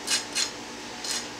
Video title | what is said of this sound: Stovetop vs Sandwich maker grilled Cheese | if you can hear that that one's pretty crispy